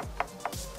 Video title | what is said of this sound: Toy Shack in Las Vegas, Nevada off Fremont Street | that's solid it really is